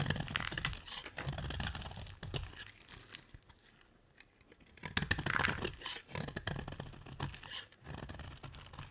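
A metal utility blade carves a hand-sized, solid oval bar of dry yellow soap, and shavings pile up. Crisp, rapid scraping and cutting strokes crackle with a papery, tearing texture. The strokes grow quiet for a couple of seconds midway before resuming.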